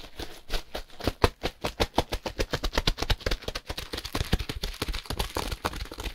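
Gloved hands quickly grip, squeeze and tap the same plastic-wrapped compressed hay block while moving it around. The result is a fast, continuous run of short, dull crinkling taps and rustles, heavy in low thumps with some brighter plastic crackle.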